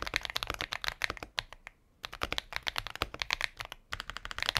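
A compact mechanical keyboard with a transparent plastic case and white and pink plastic keycaps is typed on with steady fingertips. Quick, bright plastic clicks and clacks come in fast bursts with very short decay. Two brief pauses break up the typing.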